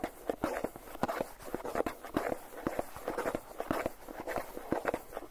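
Fingertips and nails tap rapidly on the lid of a hollow Philadelphia plastic cream cheese tub with its lid on. The taps are quick, hollow, mid-pitched plastic clicks that die away almost at once. They come in an uneven, continuous patter, with little deep bass or bright top.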